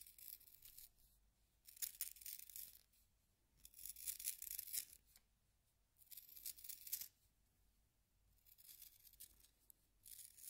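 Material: Wood.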